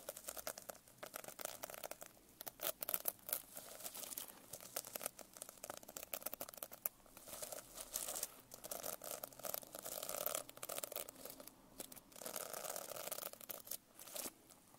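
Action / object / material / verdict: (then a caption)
tap / notebook with plastic sequin cover / plastic sequins / none. Fingernails tap and scratch quickly across the plastic sequin cover of a closed notebook held edge-up. The result is a dense, bright stream of clicky, crinkling ticks with almost no low end, swelling into short bursts of faster scratching before easing off again.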